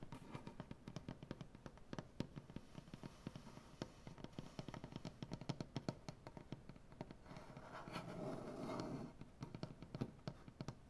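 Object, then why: Wooden butcher block tabletop. Fingernails rapidly tap and scratch across a solid light wood butcher block tabletop with both hands, making a dense run of short, dry, woody clicks with almost no ring. Around the eighth second the tapping gives way to a steadier rasping scratch, then the quick tapping returns.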